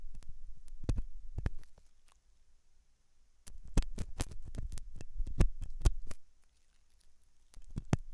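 A hooked metal dental tool scratches inside the ear canal of a white translucent silicone ear made of soft solid rubber, likely mounted on a binaural ear microphone. Bursts of deep, muffled scraping and thumping come in three clusters, the middle one the busiest, separated by near-silent pauses with a faint high hiss.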